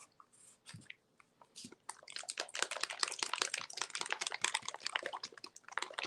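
A plastic bottle of high-flow acrylic paint with a mixing ball is shaken to mix the paint. A few faint, scattered clicks come first, then from about two seconds in the shaking turns into a dense, fast, bright rattle of the ball knocking inside. The ball is moving freely, so the paint is mixing as it should.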